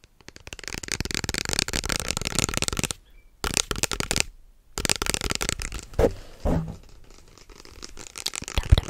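Fingertips tap and scratch fast on the label of a small, hollow white plastic lotion bottle with an orange cap, held close up. Dense, crackly bursts of scratching and tapping run in long stretches, broken by two brief silences. Later come a couple of duller knocks, a quieter patch, and a sharp final tap.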